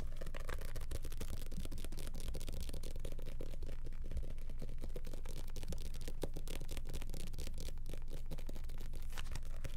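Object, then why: Paperback book with glossy cover. A small paperback copy of *The Boxcar Children* with a glossy paper cover is held close to the mic in both hands while fingertips rapidly tap and scratch its cover and pages. The result is a dense, fast, steady stream of crisp clicks and papery scratches over a strong low rumble that stays even in loudness throughout.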